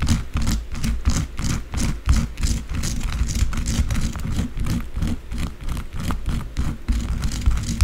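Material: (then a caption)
Soap. Long blue acrylic nails scratch and tap quickly across the surface of a solid white bar of soap lying flat, using both hands. The result is a dense, fast, somewhat irregular stream of dull low thuds layered with bright, hissy scratching bursts that die away almost instantly.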